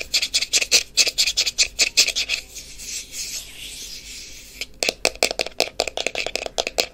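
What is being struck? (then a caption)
Small plastic cream jar with screw lid. Long painted fingernails quickly tap and scratch the black screw lid and sides of a small, closed plastic The Body Shop Vitamin E cream jar held in the hand. Bright, clicky taps give way to a steady, hissing scratch in the middle, then fast tapping resumes.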